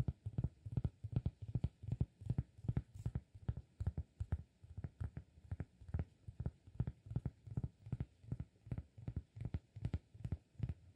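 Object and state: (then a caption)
Cork disk. Fingertips tap the face of a round, flat, solid cork disk held in one hand, producing a quick, uneven stream of about fifty soft, dull thuds. Each tap is low and muffled, with almost no brightness, and dies away almost instantly.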